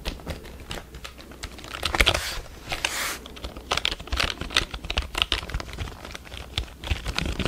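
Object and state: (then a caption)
Plastic computer keyboard being tapped. A full-size black plastic computer keyboard is held upright near the microphone while fingertips tap and press its plastic keys. The result is a fast, irregular run of short, bright clicks and clacks over a faint low hum, with a brief soft, hissy brush sound in the middle.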